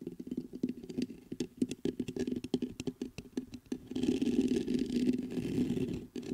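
Fingertips tap the metal body of a black metal USB condenser microphone in a quick, irregular run of dry, close clicks with a low-mid thump, for about four seconds. Then they scratch the grille, giving a steadier, louder and brighter rustling scrape that runs to the end, with a brief dip near the close.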